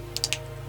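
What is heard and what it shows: A dry bean pod picked from the plant is handled, giving three short, crisp crackles over a faint steady low hum. The crispy sound shows the pod is dry and ready for saving seed.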